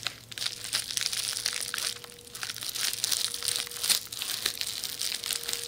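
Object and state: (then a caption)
Plastic bubble wrap being scratched. Long nails scratch and crinkle a rolled red plastic bubble wrap tube beside the microphone, making dense, bright crackling and rustling with many small sharp ticks. A faint steady hum runs underneath.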